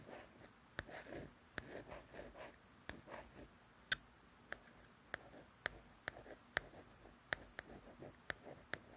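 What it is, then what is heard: Paperback coloring book. Long nails scratch and trace across the glossy paper cover of a paperback coloring book. Soft, papery swishes are broken by 13 sharp, bright nail clicks. The clicks stop instantly, with no ring, over a quiet, close background.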